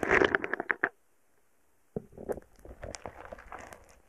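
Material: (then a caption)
Foam beads. A wooden stick repeatedly pokes and presses a small, soft, solid heart-shaped lump of purple foam bead slime (floam) resting on a microphone, producing dense, beady crackles and pops. A loud burst of crackling stops for about a second of silence, then quieter, scattered crackles and squishes resume until the end.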